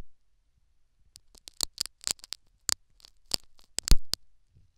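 A metal syringe needle prods and scratches the foam plug inside the canal of a silicone dummy ear microphone. The result is a run of sharp, crackly scratches with bright high-end hiss, spaced irregularly and growing denser toward the end, with one louder pop near the four-second mark.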